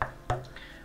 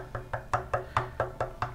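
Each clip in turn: First: dense section of ash bowl blank. Second: wood bowl blank sounding looser, less dense.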